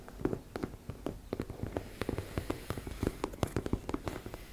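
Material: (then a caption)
Fabric. Long nails tap and scratch rapidly on a teal embossed-fabric makeup bag. The result is a quick, uneven run of short, dull, muffled taps over a faint scratchy rustle, with most of the weight in the low end and almost no ring after each hit.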